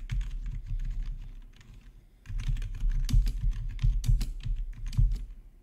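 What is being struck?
Plastic computer keyboard.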